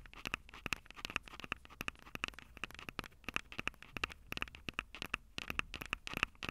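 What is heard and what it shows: Long glossy acrylic nails tap and scratch the two metal-grille mic capsules on top of a Tascam DR-05 handheld recorder, a small, hollow-bodied black plastic unit standing upright on a table. A rapid, irregular run of sharp, dry clicks with no ring, each carrying a bright metallic ping around 2.6 kHz, sits over a faint scratchy crackle between taps.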